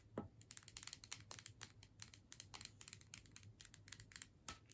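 Long nails tap quickly along the body and sides of a filled plastic tube with a metal screw cap. The result is a rapid, uneven series of sharp, bright clicks that each stop almost at once, over a faint low hum.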